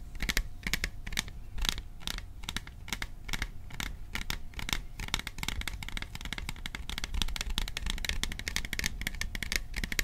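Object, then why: Metal tin. Fingertips tap rapidly on the sides of a hollow, cylindrical printed metal popcorn tin with a dark lid, held close to the microphone. The many quick, dense taps give bright, short metallic clicks with a low hollow thump underneath and almost no ring.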